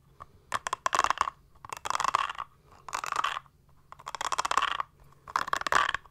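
Long manicured nails scratch and tap a small, solid but flexible mint-green textured silicone makeup brush-cleaning pad held in both hands. Five separate bursts of quick, crackly scratching strokes, each under a second, are centered on a bright, papery midrange and separated by short silences.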